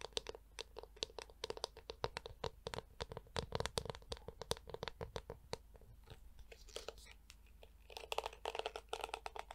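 A handheld Tangle Teezer-style detangling hairbrush with a black hollow plastic shell and yellow plastic bristles is held close to the mic while long acrylic nails tap its back and scratch across the bristles. Dense, quick, dry clicks and raspy scratches come in irregular bursts, with a brief quieter stretch in the middle and a final flurry of bright scratching. Each tick stops almost instantly.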